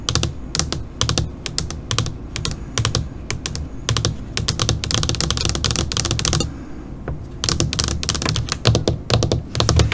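Long pointed nails on both hands tap rapidly on a flat black LCD computer monitor screen, like typing. It makes dense bursts of sharp, bright clicks over a steady low hum, with a brief lull past the midpoint before the tapping picks up again.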